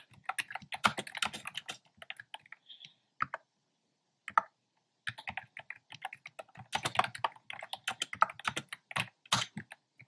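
Fingertips type steadily on a black plastic keyboard with hollow, round pastel retro keycaps, producing rapid bursts of sharp, clicky keystrokes. The typing pauses briefly around the third and fourth seconds, and a faint, short high tone is heard during the first pause. It then resumes in fast, dense runs until the end.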